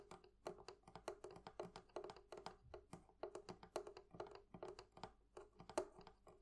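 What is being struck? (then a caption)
Metal fittings of a wooden barrel chest. Metal fittings on a wooden thrift-shop barrel chest are tapped with nails and fingertips in a quick, uneven series of light clicks and taps. Each tap is short and dry with very little ring, carrying a mid-range tone around 360 Hz and faint bright edges.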